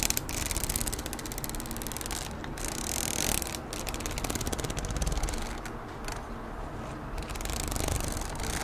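Long nails tap and scratch the glossy plastic cover of a red A4 Oxford spiral notebook held in one hand, working across the cover and near the spiral. The result is a dense, steady stream of quick, bright clicks and scratchy rasps with very short decay over a low background hum.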